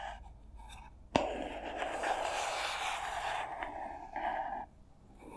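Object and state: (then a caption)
Cardboard box tapped and scratched. A small, hollow white printed cardboard box labeled SPARV is held in front of the microphones while long nails tap and scratch its sides. A sharp tap near the start gives way to a sustained dry scratching with a mid-range hollow resonance and bright papery texture, then fades to quiet.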